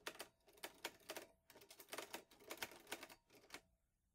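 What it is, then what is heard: Metal manual typewriter. Fingertips type on the keys of a green metal portable manual typewriter, an Olivetti Lettera 22, producing a quick, uneven run of sharp, bright clacks. Each strike is crisp and dies away almost at once, with almost no low end, and the typing stops just before the clip ends.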